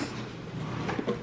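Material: Nothing is struck.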